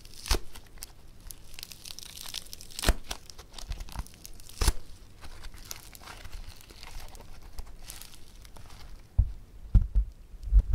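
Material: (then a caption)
Foam beads. Hands tear and squeeze a lump of multicolor blue and pink foam bead clay (floam), then press it back into a lump. Soft, continuous crackling and crinkling runs throughout, broken by a few sharp, bright snaps near the start and a cluster of firmer pops and thuds at the end.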